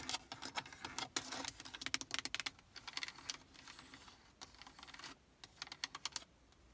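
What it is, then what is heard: Plastic car stereo faceplate. Long acrylic nails tap fast across the hard plastic faceplate of a Prius radio unit in the dashboard, hitting its small plastic buttons and knobs. About thirty sharp, bright clicks come in quick bursts with short pauses, each dying away almost at once, and the tapping grows softer toward the end.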